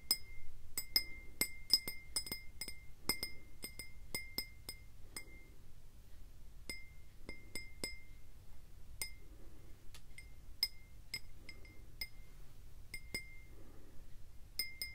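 A clear faceted glass tumbler, hollow and mostly empty, is tapped and clinked with fingers and nails in a quick, irregular series of sharp clicks. Each strike gives a short, bright glassy chink with a brief ringing tone near 2 kHz that fades almost at once, over a soft low rumble.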